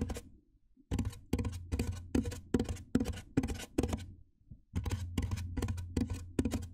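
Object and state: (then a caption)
Styrofoam box. Fingertips with painted nails tap on the top surface of a large, white, hollow styrofoam box. Each tap makes a dull, hollow thump with a deep low body and a faint tonal note that dies away almost at once. The taps come in a steady, fairly even rhythm, broken by one brief pause before they resume.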